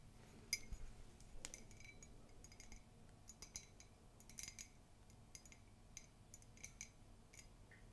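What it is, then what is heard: Ceramic mug tapped and scratched. Long pink nails tap and scratch the outside of an empty, hollow white ceramic mug with a black-and-white Mickey comic print, held in both hands. Quiet, sharp clicks and bright, short ticks ring briefly, with soft scratching between them over a low background hum.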